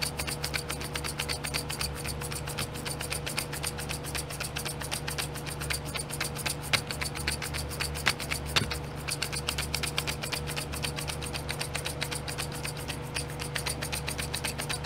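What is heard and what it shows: Fingernails rapidly tap and scratch the lids of small clear domed plastic nail glitter pots sitting in a pink plastic tray. The sound is a dense, fast stream of bright plastic clicks and scratchy rubbing that stays steady throughout, with a constant low hum and a faint steady tone underneath and a few sharper, louder taps standing out.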